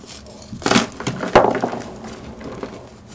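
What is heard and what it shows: Gloved hands grip and crush solid, partly broken gym chalk blocks in a pink plastic bowl, crumbling them into pieces and powder. A series of dry, gritty crunches and crackles, with the loudest bursts early, fades into softer crumbling and faint grainy rustle.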